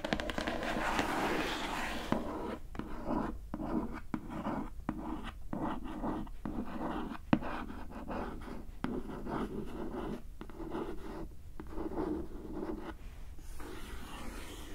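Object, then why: Glossy printed cardboard box. Fingernail tips scratch and trace over the printed lid of a closed, glossy printed cardboard gift box. The result is a steady run of soft, dry scratching strokes, mostly low and mid in tone with little brightness, each ending quickly with almost no ring.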